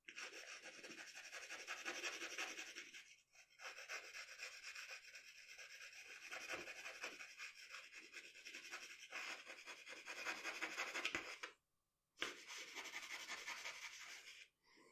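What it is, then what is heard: Pencil scratching on drawing paper. The graphite tip of a wooden pencil scratches across a flat sheet of drawing paper lying on a dark table while shading the eyes of a portrait. Quick, bright, rasping strokes run almost continuously, with a brief dip just after 3 seconds and a short silent break near 12 seconds before the scratching resumes.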